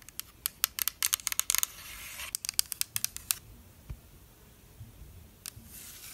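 Long black nails scratch and rub along the printed body of a translucent pink plastic spray mist bottle, hollow with liquid inside. A rapid run of crisp, bright clicks and scrapes fills the first half, then thins into a few scattered ticks over a soft, hissy rubbing.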